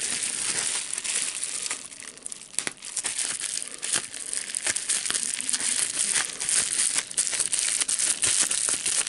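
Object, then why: Plastic bubble wrap sheet. A clear plastic bubble wrap sheet, first laid flat and then bunched up in both hands, is crumpled and popped with the fingertips. A steady, bright crinkling runs throughout, broken by sharp, short pops at irregular moments, with almost nothing in the low range.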